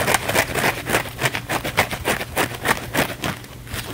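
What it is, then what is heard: Foam sponge being scratched. A thin, flexible blue foam sponge held in the hands is scratched rapidly with the fingernails. About fifteen quick, dry rasping scrapes come in a fast, fairly regular rhythm over a faint low hum, each one bright and crackly and cutting off almost at once.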